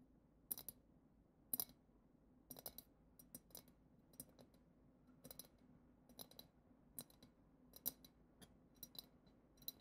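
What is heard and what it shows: Long acrylic nails tap the bowl of a clear, hand-height glass goblet-shaped vessel decorated with a silver glitter swirl and a glitter-coated foot, hollow and empty apart from loose glitter at the bottom. The taps come as an irregular series of quiet, sharp, bright clicks with almost no ring, over a faint low background hum.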